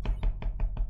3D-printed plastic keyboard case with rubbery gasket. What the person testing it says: the sound is quite good